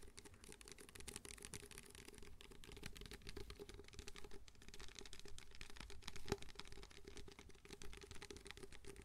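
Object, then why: Disposable paper cup. Fingertips tap the sides of an empty white disposable paper cup held in both hands close to the mic. A steady flurry of quick, light, dry taps runs throughout with very little ring, carrying a faint hollow tone near 400 Hz over soft low thumps and a bright papery crackle.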